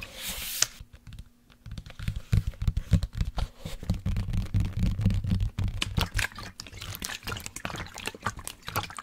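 Fingernails tap and scratch along the sides of a hollow black plastic sports water bottle with a blue cap, which holds liquid. A brief bright, airy rustle opens the clip, then after a short pause comes a quick, uneven run of dull, low, hollow taps mixed with crisp scratches and faint sloshing of the liquid inside.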